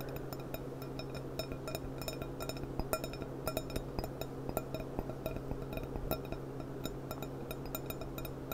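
A clear, thin-walled stemmed glass cup with a gold rim and a price sticker, hollow and empty, is held upside down over a polishing cloth and tapped with long dark-painted nails. The quick, irregular taps give bright, short glassy clinks with a brief ring, over a steady low hum.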